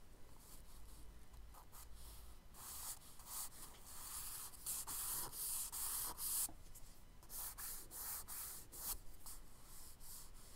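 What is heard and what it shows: A charcoal stick held in the fingers is dragged in long strokes across a flat page of a spiral-bound tan kraft paper sketchbook resting on a dark table. It makes a dry, bright scratching and rubbing hiss in repeated sweeps, growing louder and denser through the middle before easing off again.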